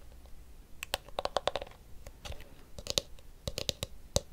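A blue and pink plastic detangling hairbrush has its pink plastic teeth rubbed with fingertips and its hollow blue back tapped with nails. The result is a quick, irregular series of sharp, dry clicks and taps with a hollow tone around 535 Hz and bright edges, separated by soft scratchy rubbing. Each tap stops almost instantly.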